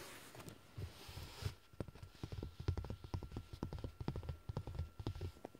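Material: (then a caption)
Woven fabric. Fingertips and short nails scratch and tap the dark woven fabric of a large, soft, padded car seat cushion. A brief stretch of soft, brushy scratching gives way to a quick, irregular series of dull, low thumps and light taps that die away almost instantly, with a faint steady tone underneath.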